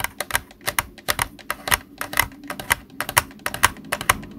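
Fingertips tap the body and buttons of a hollow white plastic Xbox controller lying on a desk. About two dozen short, dry, clicky taps come at an uneven pace, bright with a hollow mid-range knock near 1 kHz and almost no low end. Each tap dies away almost instantly.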